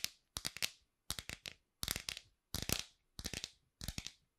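Long pink acrylic nails tap and scratch the back of a hand-sized iPhone in a clear glitter plastic case, held beside the microphone. Seven quick bursts of sharp, bright plastic clicks and scratchy taps are each separated by short silences. Every click is dry and dies away almost instantly.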